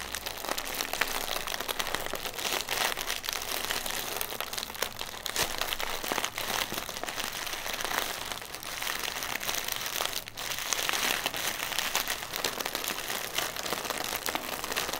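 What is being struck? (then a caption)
Inflated plastic air cushion. A single inflated, hollow plastic air pillow used as packaging is held in both hands while fingernails tap and scratch its plastic film. The result is a steady stream of bright, crisp crinkling and scratching with dense rapid taps, at an even level for the whole clip, with little low end and almost no ring after each touch.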